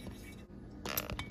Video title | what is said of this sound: Flippin a 2005 Crf250r !! (Part 2) - Vlog # 015 | this is what you want your valves to sound like they're seating perfectly now you can barely hear it nice crisp sound